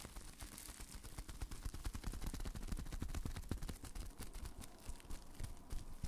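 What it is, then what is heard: Plastic bubble wrap being popped. Both hands wrapped in clear plastic bubble wrap are held on either side of a microphone while the fingers squeeze and pop the bubbles. The result is a rapid, irregular stream of short, dry pops and crinkles that are heavy in the low end and stop quickly, continuing throughout.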